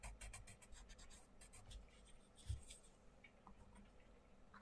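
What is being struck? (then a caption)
Coloured pencil on paper colouring book page. A wooden colouring pencil is scratched back and forth on a thin paper page of an open paperback colouring book resting on a wooden table, filling in a small area while the other hand holds the book open. Quick, bright, scratchy strokes come in a fast run at first, then turn softer and sparser, with one low dull thump midway and a faint papery rustle under it all.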